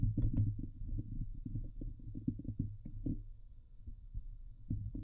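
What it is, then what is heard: Metal mesh microphone grille. Fingernails of both hands scratch and tap the hollow steel wire-mesh grille on the head of a Blue Yeti microphone. The result is a dense, muffled run of low thumps and rubbing scrapes with quick, dry taps and almost no brightness or ring.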